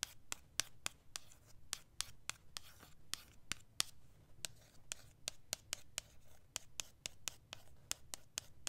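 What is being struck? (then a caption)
Printed cardboard palette box. Long acrylic nails scratch and rub across the printed surface of a flat, rectangular cardboard eyeshadow palette box (Sakura + Sage) held in one hand. About 27 sharp, bright nail clicks sound in a quick, fairly steady rhythm, each dying away instantly. Soft, hissy scraping fills the gaps over a faint low rumble.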